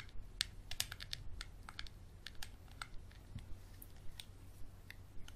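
A capped Sharpie marker scratches and taps along the ridges of a small, clear, textured glass bottle with a dark cap. Quick, bright, dry ticks and clicks come in an uneven string, each dying away at once, over a faint low rumble.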